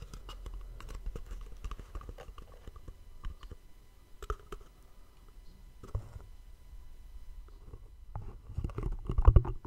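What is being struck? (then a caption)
Small cardboard gift box. A small, hollow white cardboard gift box with two dark elastic cords is held in both hands close to the mic while fingertips tap and scratch its faces. The result is soft, dull, low-pitched taps and brushing scratches, quiet and muffled, growing busier and louder near the end.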